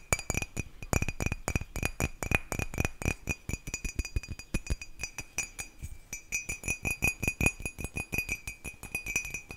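A white ceramic mug, hollow and empty and held by the handle, is tapped rapidly with long nails. About 50 quick, sharp clinks ring out in a steady stream, each with a bright ring near 2.5 kHz that decays almost instantly.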